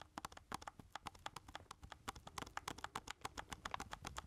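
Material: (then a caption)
Plastic. Fingertips rapidly tap and press the number keys on a hollow black plastic keypad game controller held in both hands. About 30 short, dry plastic clicks come in an uneven, quick rhythm, each centred around 1 kHz with a bright edge and dying away almost instantly.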